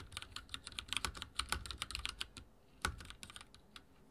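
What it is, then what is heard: Mechanical keyboard with plastic keycaps. Fingertips type rapidly on a backlit mechanical keyboard with dark plastic keycaps and a silver frame. Bright, sharp clacks come in quick bursts, with a short pause before one louder stroke and a final run of softer taps.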